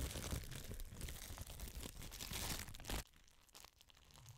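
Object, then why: Thin clear plastic bag. A thin, clear plastic bag held by one corner is crinkled and scrunched close to the mic by fingers with long pink nails. Dense, bright crackling fills the first three seconds, then drops abruptly to a much quieter, sparse rustle.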